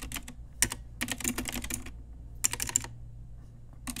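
Fingertips and long nails type continuously on a pink Ajazz typewriter-style retro mechanical keyboard with round plastic keycaps. Quick bursts of sharp, bright plastic clicks and clacks come in clusters separated by short pauses, each keystroke ending almost instantly over a faint low hum.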